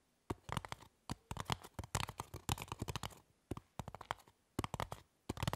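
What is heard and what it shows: Both hands with long nails scratch and tap the top surface of a small, solid, rectangular white styrofoam (polystyrene foam) block lying on a table, while a pin wheel at the edge goes untouched. Quick bursts of dry, squeaky scratches and clicky taps come in clusters separated by short silences. Each sound stops almost instantly, with a soft low body and bright crackly edges.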